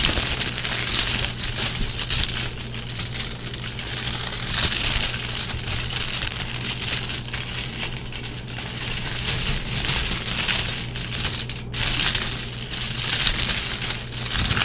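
Fingertips and long nails scratch, rub and press a large flat sheet of crinkled aluminum foil on a table, creasing the thin metal sheet under the hands. A dense, steady crinkling and crunching fills the high, bright range for the whole clip, with a faint low hum underneath.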